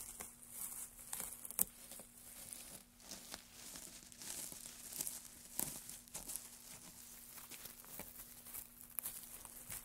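Gloved hands grab, crumple and stir a pile of thin, dry wood shavings. A quiet, bright, continuous crinkling and rustling is punctuated by sharp, dry crackles, over a faint steady low hum.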